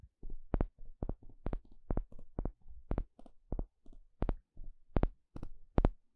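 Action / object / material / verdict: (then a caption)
tap / thin flat wooden stick poked with a plastic pick / wood / none. A small plastic pick pokes and scratches a thin, solid, flat wooden paddle stick shaped like a spatula. The result is a quiet, steady series of short, dry taps with a low thump and brief bright clicks that die away almost at once.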